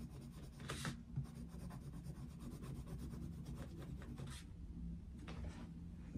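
A dark wooden coloured pencil is stroked across an open paper colouring book resting on a desk, making soft scratching and rubbing sounds. Quiet, continuous strokes bring occasional brighter rasping bursts over a steady low hum.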